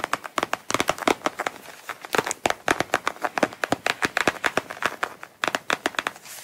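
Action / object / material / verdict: tap / coated canvas wallet / coated canvas / none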